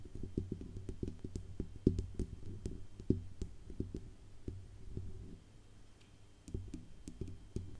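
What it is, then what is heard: Metal USB microphone tapped with fingernails. Long acrylic nails tap and scratch the hollow metal body and grille rim of a large silver Blue Yeti USB microphone with a wire-mesh grille. Soft, irregular taps land as short, dull low thumps with crisp, bright clicks on top, over a faint scratchy hiss. The tapping stays quiet and close throughout, with a few louder hits standing out.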